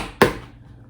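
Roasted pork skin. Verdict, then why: Crisp. A single sharp knock on the crisp roasted pork-skin "cushion" of a lechona, removed from its tray after 5 hours in the oven at 300 degrees. The hard, hollow tap decays quickly and shows the skin is crisp and the lechona is ready. Without this sound it would need another half hour at 400 degrees.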